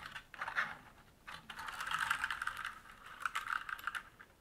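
Fingertips type on a black mechanical keyboard with plastic keycaps and a metal top plate and frame, set on a wooden desk, with hands briefly touching the keyboard edges. Short, sharp clacks centered near 1.4 kHz come in quick bursts separated by brief pauses, each one dying away almost instantly.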